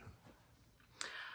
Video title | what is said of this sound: 🫙 Canning Dry Beans and Peas - The safe way! | This is a false seal because when I tapped it, you can hear the thunk, and when I tapped it, it went down.